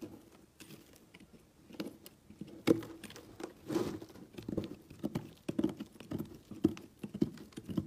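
A utility knife blade cuts thin flakes from a solid, partly shredded cream-colored soap block. Soft, dull scraping and crisp patter sounds come in irregular bursts, centered in the low-mids with little high content. Each cut dies away almost at once.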